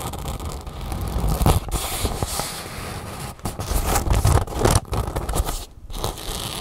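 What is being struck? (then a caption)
Nylon fabric bag. Long nails scratch and rub along the taut seam on the folded edge of an empty red nylon drawstring bag held upright. The result is a continuous, uneven scraping rustle with low, rumbling weight and frequent short bursts of louder crackle.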